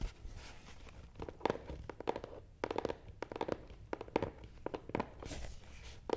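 A long, black, matte cardboard gift box, hollow and closed, sits on a table and is tapped on top with nails, then scratched along its front side. Quick, dry, hollow taps with a clear mid pitch stop almost instantly, mixed with soft, hissing scratches between them.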